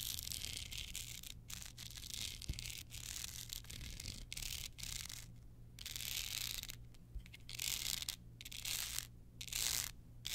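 Long nails scratch across the surface of a small, hard, hand-held card holder covered in clear rhinestones with black edges. The result is a bright, gritty scratching that comes in bursts separated by brief pauses, over a faint, steady low hum.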